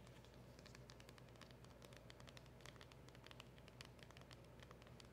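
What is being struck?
Small cardboard box.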